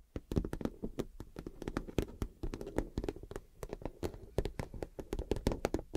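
A clear PVC vinyl makeup wash bag with gold glitter and a cactus print is tapped and scratched with the fingernails. It makes a quick, dense run of short, dull, low taps with almost no ring, and soft scratching between them.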